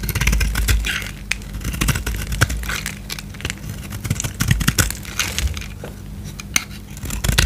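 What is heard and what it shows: A solid white bar of soap with a gold-painted surface, held in hand, is shaved with a utility knife blade. Quick, dry, crackly scrapes come in uneven bursts with bright edges. A steady low hum runs underneath the whole time.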